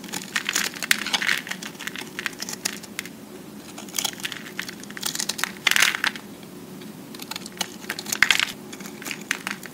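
A metal utility-knife blade scrapes and shaves the surface of a solid, hand-sized cube of pressed green-and-white recycled soap held in one hand, and flakes fall onto a pile of soap shavings. Bright, crisp scraping bursts come in repeated strokes, dotted with dense dry crackles and clicks over a faint steady low hum.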